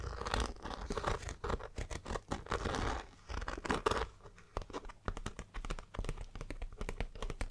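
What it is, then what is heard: Polyester fabric backpack. Fingertips and long dark-painted nails scratch and tap on the printed round logo patch and surrounding polyester fabric on the front of a hollow, dark green Fjallraven Kanken backpack. The first half is a dense, rasping scratch with low, muffled body. It gives way to quick, dry, closely spaced taps that die away almost instantly.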